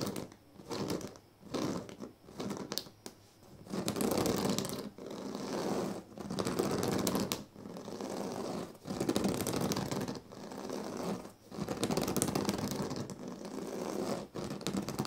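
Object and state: Woven reed sleeping mat.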